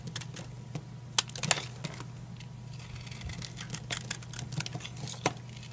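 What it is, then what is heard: Dry soap bar. A utility knife repeatedly cuts and scrapes brittle pieces off a solid, old, dry green oval soap bar held in the hand. Crisp, bright cracking snaps and dry scraping crackles come at an irregular pace over a steady low hum. Each sharp snap ends almost instantly.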